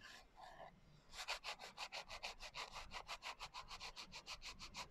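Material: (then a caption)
Glitter. Fingertips and long nails rub back and forth across the coarse glitter cover of a small, closed hardcover notebook. After a quiet first second, about two dozen quick, bright, scratchy strokes follow in a steady rhythm, each a short, gritty rasp with almost no low end.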